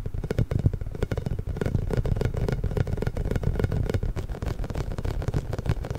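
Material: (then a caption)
Rubber. A large pink inflated hollow rubber massage ball with small spikes is held behind a microphone and rubbed and squeezed with the fingertips. The result is a steady, dense stream of deep, muffled rubbery thumps and scratchy scraping, with most of the sound sitting in the low range and little brightness on top.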